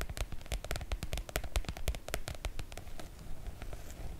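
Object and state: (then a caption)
Oilcloth make-up bag. Long coral nails tap and scratch the glossy coated fabric of a floral PVC-coated oilcloth make-up bag. A quick, uneven run of sharp, crisp clicks rides over soft low thuds and a faint scratchy rustle, with each tap dying away almost instantly.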